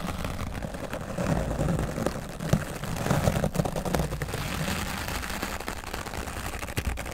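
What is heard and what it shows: A grey foam microphone windscreen is brushed on its right side with a wooden bristle brush, producing a continuous, muffled scratching and rumbling. The sound sits mostly in the low range, with soft swishing textures and occasional faint crackles over steady strokes.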